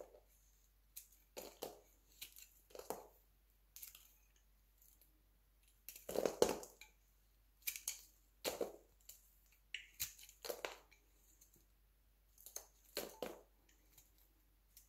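A metal utility knife carves thin flakes off a solid, hand-sized, mauve-pink dry soap bar held in the palm. Each stroke makes a short, dry, crisp crunch with a low-mid body and a bright scraping edge, spaced by brief pauses in otherwise quiet surroundings.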